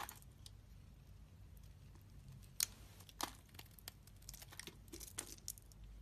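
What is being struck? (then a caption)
Bar of soap. A solid, translucent green soap bar held in the hand is carved and scraped with a utility-knife blade. The result is quiet, bright, crisp scraping and crackling with irregular short clicks, two sharper cracks standing out midway, over a low steady background hum.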